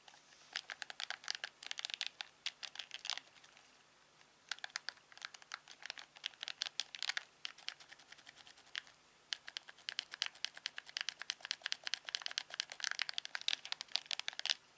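A thumb presses the buttons and scrolls the wheel of a hand-sized, hollow, black plastic LG TV remote control, close up. Rapid, sharp, bright clicks and scratchy ticks come in dense bursts, with brief quiet pauses around 4 and 9 seconds.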